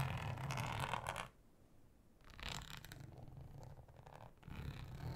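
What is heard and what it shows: Long acrylic nails scratch deeply and slowly across a thin, flat, solid, yellow ribbed flexible plastic cutting mat. Three bursts of rough, raspy scraping with a low rumbling body come apart by short quiet gaps.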